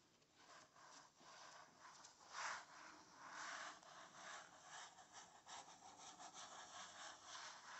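Fingernails scratch across a blank paper page of an open spiral notebook. The result is an irregular series of dry, rasping strokes, bright and papery in the mid and high range with almost no low end, swelling and fading as the scratching continues.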